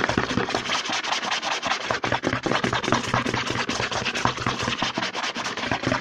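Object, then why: Plastic lotion pump bottle. Fingertips and short nails rapidly scratch and tap the label side of a medium white plastic CeraVe lotion bottle with a green pump cap, held in one hand and apparently filled with lotion. It makes a fast, dense stream of bright scratchy rasps and quick taps with a low hollow plastic thump beneath, continuing steadily for the whole six seconds.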